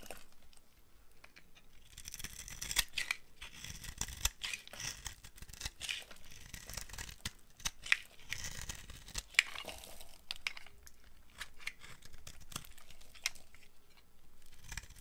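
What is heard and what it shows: A box cutter blade carves shavings and strips from the end of a solid, dry, orange striped soap bar held in the palm. Bright, dry scraping and rasping strokes repeat throughout, with sharp crisp clicks as the blade cuts through, over a faint low background.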